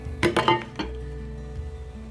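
Four light taps on the open, empty end of a hollow metal bicycle handlebar tube, with no bar end inserted. Each tap gives a short, hollow metallic clink with a ring around 890 Hz that fades in about a tenth of a second. A faint steady low hum continues underneath.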